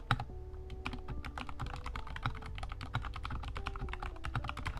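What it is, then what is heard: Plastic mechanical keyboard. Both hands type with their fingertips on a compact 60% Kemove Snowfox DK61 mechanical keyboard with white plastic keycaps and RGB backlighting, sitting on a desk. Rapid, steady key presses give short, dry plastic clacks with a low, full body and little ring.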